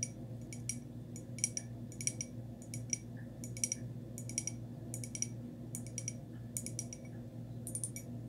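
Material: Ceramic.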